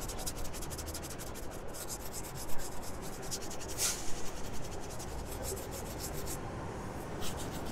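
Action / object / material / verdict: scrape / leather sneaker / leather / none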